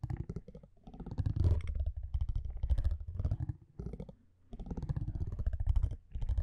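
A metal tweezer-like tool scratches across the surface of a thin cardboard baseball card with an orange printed back, held in one hand. The sound is a dense, low, rumbling scrape made of rapid tiny clicks, coming in several bursts separated by brief pauses.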